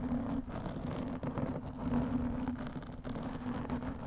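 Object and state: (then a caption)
Foam microphone windscreen being scratched. Long nails scratch the sides and top of a black foam windscreen fitted over a microphone. The result is a dense, continuous scratchy rustle, heavy in the low and middle range, with a steady droning tone near 250 Hz and a few brief dips in level.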